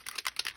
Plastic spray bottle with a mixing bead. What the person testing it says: you hear that little bead rolling around in there you know you got it shook it up well